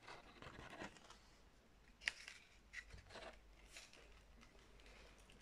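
Long red acrylic nails scratch, tap and rub along the glittery loops and tails of a large, stiff, light gold glitter-coated fabric ribbon bow held up in both hands. The result is quiet, bright, crackly scratching and rustling, broken by a few sharper taps that stand out briefly before settling back into soft rubbing.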